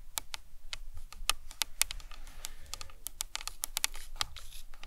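Long nails tap and scratch the sides and top of a life-size hollow plastic anatomical skull model. A rapid, uneven run of sharp, bright clicks with almost no ring sits over a soft low rumble, with faint scratchy brushing between the taps.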